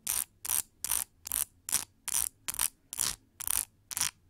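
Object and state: Plastic paddle hair brush bristles being scratched.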